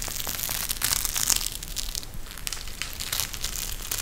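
A pink gel bead eye mask, a clear plastic shell filled with gel beads with fabric trim, is bent and squeezed in both hands. It gives a steady stream of bright crushing, crinkling plastic crackles with faint low rumble underneath, peaking briefly near the middle before settling at an even level.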